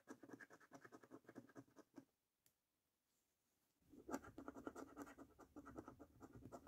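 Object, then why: Paper scratch card scratched with a coin. A coin scratches the scratch-off coating on the game panels and number area of a thin, flat paper lottery scratch card held down by one hand. Quick bursts of dry, papery scratching run for about two seconds, then stop for a near-silent gap broken by a single faint tick. The scratching resumes more loudly and continues to the end.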